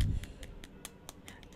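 Golden fried potato chips on a plate are knocked on to show their crispiness, giving eight light, crisp taps after a brief low rumble at the start. The chips are crispy on the outside and soft inside.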